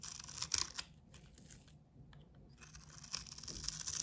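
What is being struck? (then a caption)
Coated soap bar. A snap-off utility knife blade scrapes the face of a solid, hand-sized bar of soap with a blue painted coating, held in the palm, carving it into crumbly shavings. The sound is a bright, dry, crunchy rasp with little low end, loudest at the start and end, with quieter, sparse scratches in between.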